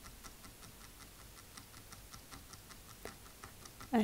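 Fingernails tap lightly on a wooden table in a quick, steady rhythm, each tap a soft, dry click. A slightly stronger knock lands near the end.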